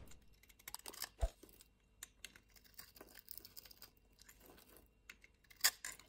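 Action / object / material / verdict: scrape / soap bar scraped with a knife blade / soap / none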